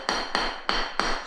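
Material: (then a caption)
Ceramic. Four sharp taps on existing ceramic floor tiles, each a bright, short knock with a ring near 1.1 kHz that dies away quickly. The tiles sound solid, not drummy, so they are well bonded and don't need pulling up.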